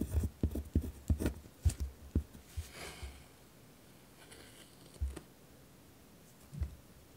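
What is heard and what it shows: A ballpoint pen tip scratches across a thin notebook paper sheet resting on a wooden desk while writing. Quick, rough scratching strokes come in a dense burst over the first three seconds, each with a dull low thump and almost no ring. After a faint stretch, two more separate strokes follow.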